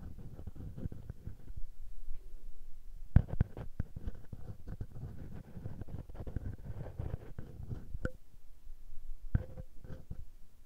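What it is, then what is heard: Metal mesh mic capsule rubbed by fingers. A small metal mesh microphone capsule on a Tascam handheld recorder is pinched and rubbed between the fingertips. This makes a dense, low rumbling handling noise, broken by a few sharp, brighter clicks where the fingers catch the mesh.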